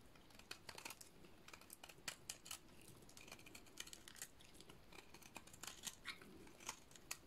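A solid, painted purple bar of dry soap is shaved with a utility-knife blade. Short, crisp scraping and cutting strokes come through as dry, bright crackles and clicks that stop almost instantly, over a faint steady hiss.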